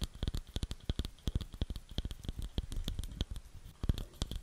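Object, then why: Light wooden bowl. Long nails rapidly tap and scratch a round, light wooden bowl that is hollow and empty, giving around thirty short, dry knocks. Each knock has a deep hollow thump and a bright clicky edge, with little ring after each hit.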